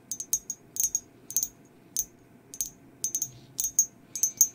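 Long acrylic nails tap all over a hollow, empty glazed ceramic mug with a black and white skeleton print. The taps are short, bright, high clicks that come in quick, uneven clusters separated by brief pauses. Each one dies away almost at once, with a faint low background hum underneath.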